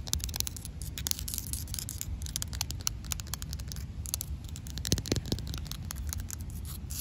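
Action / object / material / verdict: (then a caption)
tap / concrete slab tapped and scratched with fingernails / concrete / none. Long matte black acrylic nails tap and scratch a rough, solid grey outdoor concrete slab. Rapid, dry clicking taps and gritty scrapes come in quick bursts with bright, crisp edges that die away at once. A steady low rumble sits underneath throughout.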